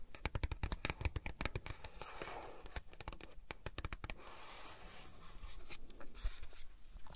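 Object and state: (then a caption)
Cardboard packaging box. Long nails scratch and rub the printed surface of a small, flat cardboard packaging box for a tempered glass screen protector. Rapid, dry scratches and clicks come first, then give way to a softer, continuous rubbing. Each sound is short and dead, with no ring.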